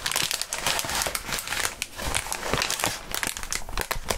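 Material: Plastic.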